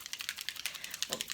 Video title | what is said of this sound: °Makeup d'été avec des nouvautés ( nyx, primark,kiko,...)° | Vous entendez, il y a une petite bille dedans.